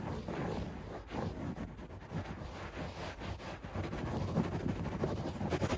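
Fingertips and nails scratch fast at a beige shag carpet on the floor, recorded close at floor level. A dense, continuous rustling scrape fills the clip, mostly low and muffled with little brightness, swelling and dipping as the scratching strokes continue.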